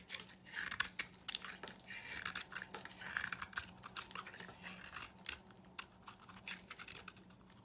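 A knife blade scrapes and shaves a hand-held solid white oval soap bar, cutting off flakes. Quiet, crisp, bright scraping strokes come in quick irregular bursts with sharp attacks and almost no ring, over a faint steady low hum.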